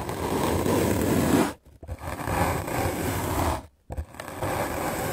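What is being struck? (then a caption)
Melamine foam sponge block scrubbed with a bristle brush. A white rectangular magic eraser block of solid melamine foam, held in the hand, is scrubbed aggressively with a medium black-bristle paint brush. Dense, fast scratchy brushing fills the clip in three bursts separated by two brief silent pauses, with a broad rough texture reaching up to high frequencies.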